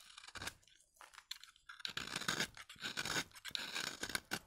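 A utility knife blade shaves fine curls off the surface of a solid, pale, dry vintage soap bar. It makes a series of dry, crisp scraping strokes with bright, hissy texture and almost no low end, separated by short quiet gaps.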